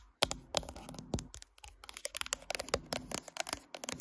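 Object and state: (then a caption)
Glass-backed smartphone tapped with nails. Long nails tap a smartphone's matte glass back and then move to its metal side edge while the phone sits in a tripod clamp. About twenty short, bright, dry clicks come in an uneven, rapid run, each dying away almost instantly, with a faint scratchy texture between taps.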